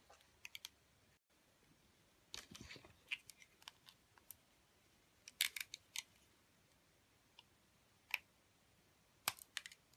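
A metal utility blade cuts into the glittery coating of a solid rectangular bar of soap with a white core, held in a long-nailed hand. Quiet, sharp, bright clicks and short crisp scrapes come in scattered bursts, with the densest clusters near the middle and end. The sound is thin and dry, centred around 2.4 kHz with almost no low end, and each snap dies away almost instantly.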